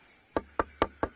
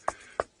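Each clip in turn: First: tree trunk side sounding fairly solid despite termite damage. Second: hollow-sounding dried-out tree trunk.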